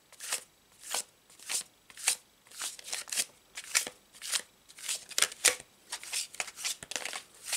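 A full deck of laminated paper tarot cards with a checkered blue-white back is held in both hands over a cloth tablecloth and given an overhand shuffle. The cards are riffled and slid repeatedly, and their edges rub and snap against each other in quick, bright, papery bursts at an irregular pace.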